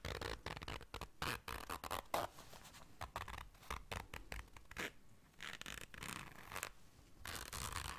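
A small round black fabric zipper case is held in hands while long dark nails zip it and scratch across it. Quick, dry rasping bursts of zipper teeth and scratching are broken by short quieter pauses, with a bright hiss over the top.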